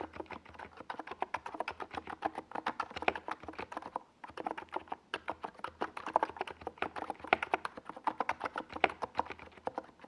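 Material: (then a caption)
Plastic. A NiZ Plum Atom 68, a compact 68-key keyboard with a hollow white plastic case and purple and yellow Domikey Gas Attack SA plastic keycaps, is typed on rapidly with the fingertips of both hands on a desk pad. The dense run of short, dry plastic clacks centers around 750 Hz, with a brief pause near the four-second mark. Each tap dies away almost instantly.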